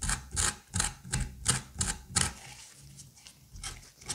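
A curette scrapes the seeds and fibrous pulp from the cavity of a pumpkin half, making a run of quick, wet, slippery scraping strokes. Each stroke has a low, soft body with a bright, crisp rasp on top. The strokes come at a fairly steady rhythm before briefly fading to quieter, softer scrapes, then pick up again at the end.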